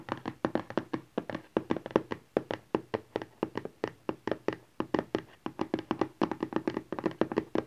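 Fingertips and nails tap quickly on a small, rigid cardboard smartphone box lying flat, with some scratching mixed in. Dozens of short, dry, hollow taps follow one another in irregular rapid bursts. Each tap has a mid-pitched body and dies away almost instantly, with very little low end.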